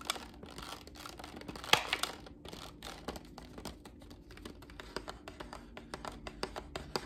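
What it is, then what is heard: Cardboard gift box tapped with fingernails. A small, hollow, heart-shaped cardboard gift box with a red rose print is held in one hand and tapped with long black nails. A steady run of quick, crisp, bright taps mixes with faint scratchy rustling, and one louder tap stands out early on. Each tap dies away almost at once with no ring.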